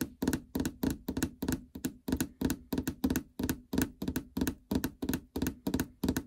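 Long fingernails and fingertips tap the plastic cover over the LCD screen of a treadmill console. The hollow housing gives short, dull knocks with a low pitch around 260 Hz. The taps come in quick pairs and clusters, about three per second, and each dies away almost at once.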